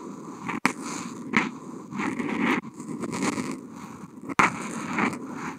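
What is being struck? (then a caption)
Felt-tip marker on smooth paper sheet. The felt tip of a Posca paint marker, picked up by a contact mic on the marker, draws continuous wavy strokes across a flat white sheet of Kent paper. A dry, scratchy rasp swells and fades with each stroke, broken by a few sharp clicks where the tip lifts off and touches down again.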